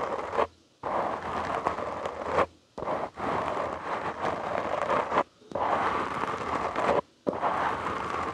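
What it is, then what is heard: Foam microphone windscreen being scratched. Short nails and fingertips scratch the soft, porous black foam windscreen on a studio microphone. The result is dense, close, crackling scrapes centered in the midrange, coming in long bursts separated by brief silent pauses.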